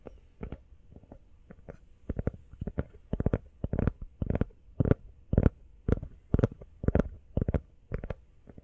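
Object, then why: Rubber phone case. Fingertips tap quickly on a rubber iPhone case, making dull, low thuds with almost no ring. The taps come in an uneven, rapid rhythm and grow somewhat louder as the clip goes on.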